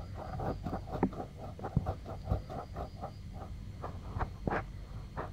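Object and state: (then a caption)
Silicone microphone ear being scratched. Fingertips and nails scratch and rub the soft silicone ear and ear canal of a white 3Dio binaural microphone, which is about hand-sized and solid. The clip is a close, muffled series of scratchy strokes and soft bumps with a low, boomy rumble underneath, and a few sharper scrapes stand out above the steady rubbing.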